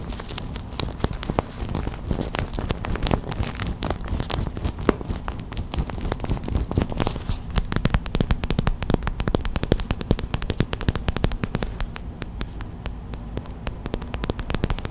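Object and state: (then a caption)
Plastic gel bead hot/cold pack. Long white acrylic nails rapidly tap and scratch a small clear plastic gel bead hot/cold pack, a pouch filled with white gel beads, resting on a towel. The result is a dense, continuous stream of sharp crinkly clicks and crackles over a soft low rustle, with no speech.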